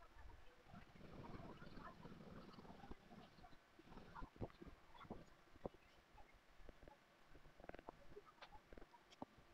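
The edge of a thin, solid crazy horse leather money clip piece, 1.5 to 2 mm thick, is rubbed fast with a turned wooden edge burnisher held in the fingers. A dense, low, muffled friction rasp fills the first few seconds, then thins into softer rubbing broken by scattered sharp little clicks and ticks.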